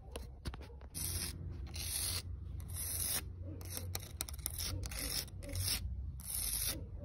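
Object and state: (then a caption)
Rough concrete slab being scratched. Long red acrylic nails scratch across a flat, solid concrete slab with a rough, grainy texture, outdoors in dappled sunlight. Repeated bright, gritty rasping strokes come in bursts over a steady low rumble.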